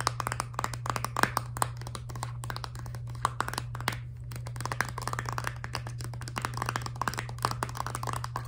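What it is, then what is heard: Filled plastic toothpaste tube. Long dark nails tap quickly on a filled, laminated plastic toothpaste tube, making a rapid run of short, dry clicks with a bright edge. The taps carry a light tone near 1.6 kHz and die away almost instantly, with a brief lull around the middle. A steady low hum runs underneath throughout.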